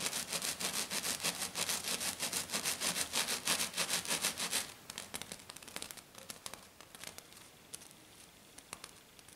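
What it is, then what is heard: Glitter-coated sheet being scratched. Both hands scratch hard with long black nails across a flat silver glitter-coated sheet. A fast, steady run of bright, rasping scratches lasts about four and a half seconds. It then drops to quieter, scattered scratchy ticks.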